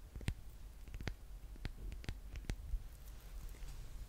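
A solid pink handmade soap bar with a yellow top is tapped and scratched close up with long painted nails. Quiet, sharp clicks and taps with a bright edge sound over a low rumbling background, each dying away almost instantly.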